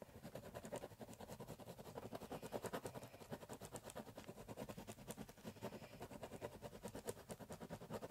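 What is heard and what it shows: A biro pen scratches short hatching strokes across the surface of a large, empty, hollow corrugated cardboard box. Rapid, repeated scratchy strokes fill the clip, each a brief dry rasp with a papery hollow resonance in the mid range and faint high, bright edges. The strokes run steadily at a quiet level for the whole clip.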